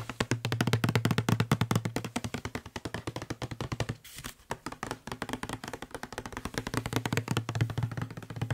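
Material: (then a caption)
Plastic. Fingertips and short nails tap quickly on the side and label of a hollow blue plastic Febreze spray bottle held in one hand. The result is a fast, uneven stream of dry, hollow taps with a low, boomy body and a short clicky edge. The taps thin out briefly around the middle before picking back up.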